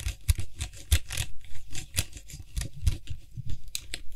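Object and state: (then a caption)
Plastic aerosol can cap. Fingertips grip the rim of a white hollow plastic cap on a Lysol aerosol spray can and quickly tap and scratch it. The result is a rapid, uneven run of dull, low, hollow thumps that die almost instantly, mixed with bright, dry scratching between them.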